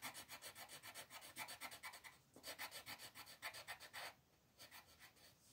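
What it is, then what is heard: Colored pencil shading on paper. A green wooden colored pencil scratches and rubs across a flat white paper sheet printed with a mandala, shading in steady back-and-forth strokes. The rapid strokes give a dry, bright, papery rasp, broken by a brief pause just after two seconds. After about four seconds the strokes turn softer and quieter.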